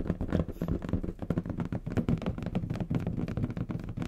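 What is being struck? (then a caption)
Inflated latex balloon. A large, hollow, air-filled bronze metallic latex balloon is held in the hands and tapped rapidly with the fingertips. The result is a dense run of soft, hollow, low thumps with a faint pitched resonance near 176 Hz, interspersed with light scratching, and each tap dies away almost instantly.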